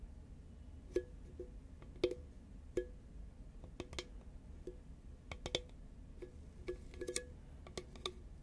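Long nails tap a green, medium-sized, hollow Pringles composite paperboard can held upright. Fifteen light, irregular taps land as sharp clicks with a brief hollow tone around 360 Hz. Each tap dies away almost instantly over a quiet background hiss.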